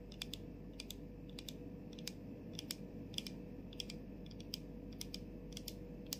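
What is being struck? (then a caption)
Plastic mist bottle and cap. Long pointed nails tap and scratch on the label area and clear plastic cap of a plastic body mist bottle with a "LOVE always wins" label, held in both hands. Irregular, sharp, bright clicks ring out in quick succession, each dying away almost instantly over a steady low background hum.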